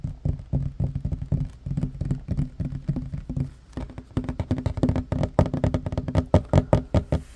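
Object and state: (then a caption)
Wooden table top. Fingertips and short nails of both hands tap fast on a flat, solid wooden table top. The result is a rapid, uneven run of dull, low knocks with almost no ring, growing louder and denser toward the end.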